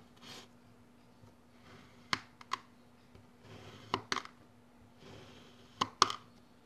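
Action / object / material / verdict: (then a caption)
scrape / kinetic sand dome cut with a plastic blade / sand / none. A solid dome of orange kinetic sand on a yellow surface is pressed and cut into a grid with a long orange plastic ruler-like blade held with the fingertips. Three times, a soft grainy hiss builds as the blade sinks in, followed each time by a pair of sharp, bright clicks that stop almost instantly. Quiet pauses separate each cut.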